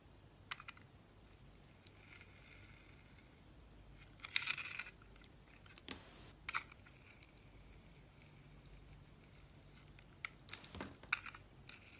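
A palm-sized solid soap bar with a gold and black speckled coating is held in the hand while a box-cutter blade shaves off the outer layer, exposing pale soap. Quiet, bright scraping and crisp cutting sounds come in short bursts, with the loudest shaves around the middle and near the end, over a low background hiss.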